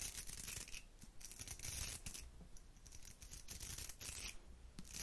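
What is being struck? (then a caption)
Round hair brush with metal barrel and plastic bristles. Long nails scratch the plastic bristles of a round hair brush with a metal barrel. It makes a quiet, steady rasping and crackling with bright, hissy flicks over a soft low rumble, swelling and easing in waves for about five seconds.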